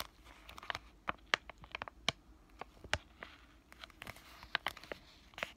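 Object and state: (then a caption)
Plastic-foil sachet crinkled and tapped. A flat, green laminated plastic-foil sheet mask sachet is crinkled and tapped with fingertips and short nails. The result is a quiet, uneven series of sharp, dry, bright crinkles and ticks that stop instantly with no ring, over a faint low hum.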